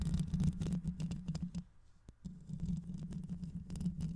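Long acrylic nails on both hands scratch and tap over a black, fist-sized, hollow microphone head with a metal mesh grille. The result is a dense, rapid stream of close, muffled scratches and taps with a low, boomy hum underneath. It drops to near silence for about half a second midway, then resumes just as busily.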